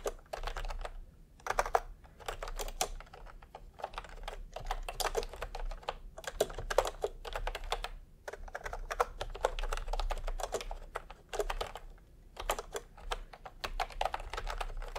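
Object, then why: Plastic keyboard with round keycaps. Bare fingertips of both hands type fast on a full-size pastel plastic retro keyboard with round plastic typewriter-style keycaps, resting on white fabric. Rapid, dry clacking key presses come in steady bursts separated by brief pauses, each click short with almost no ring, over a faint low hum.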